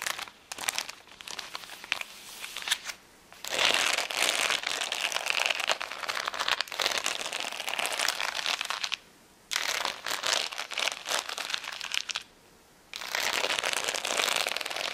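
Long nails scratch the gems of a plastic rhinestone sticker sheet, first slightly lifted and then lying flat on a towel. The result is a dense, bright crinkling and crackling scratch with almost no low end. It comes in bursts separated by brief quiet gaps.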